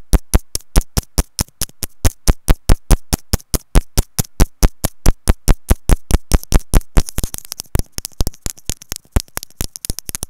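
A white plastic earphone inline remote and mic, held by a loop of its cable, is tapped with long nails in a fast, slightly uneven rhythm. About 62 short, dry taps land close to the mic, each a deep, muffled thump with almost no ring. After about seven seconds, sharper, brighter clicks mix in.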